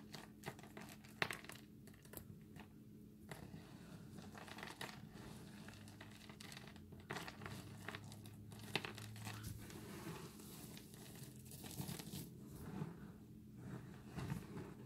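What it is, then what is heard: Dry soap crumbles being crushed. Hands dig into a pile of dry, multicolored recycled soap chips on granite, crushing them with the fingertips and then pressing the pile flat with open palms. Dense, dry crumbling and crinkling crunches with bright, crisp edges run continuously over a steady low hum, with a few sharper snaps standing out.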